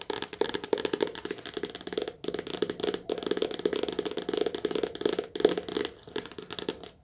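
Long nails rapidly tap the spine and glossy cover of a softcover paperback book. They make dense runs of short, crisp clicks with a hollow mid-range knock around 420 Hz and a bright edge. The runs are broken by brief pauses.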